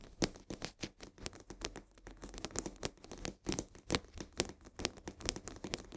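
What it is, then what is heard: Full cardboard salt box. Long nails scratch rapidly along the sides of a full cardboard box of coarse salt held upright. The result is a quick, irregular run of short, dry, papery scrapes and crinkly taps with a bright edge. The strokes are quiet overall and have no ring after them.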